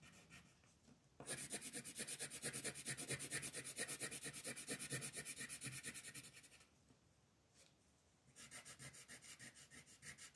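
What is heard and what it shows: A green colored pencil shades a flat paper coloring sheet on a table in fast back-and-forth strokes, making a bright, dry scratching rasp with a steady rhythm. After a quiet start, a long run of strokes is followed by a brief pause before the shading resumes.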